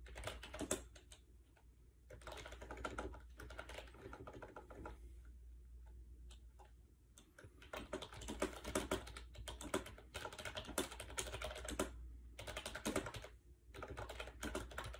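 Fingertips type fast on a compact gray plastic AJAZZ 308i wireless Bluetooth keyboard with round white keycaps, resting on a bed. Bursts of light, hollow plastic key clicks come in flurries with brief pauses. A steady low hum runs underneath.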